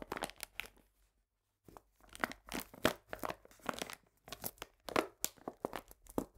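A medium printed paper bag full of cane sugar is lifted and squeezed with both hands, making dry crinkling and crunching bursts that spread from low-mid to bright highs. After a brief pause near the start, the quick bursts resume in rapid, uneven clusters.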